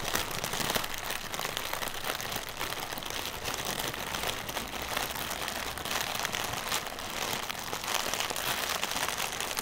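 A single small, inflated, translucent plastic air pillow used as packaging is held in both hands while fingertips and nails tap and scratch its hollow, air-filled film. The result is a steady, dense stream of bright, crinkly scratching and light tapping with little low end, holding an even level throughout.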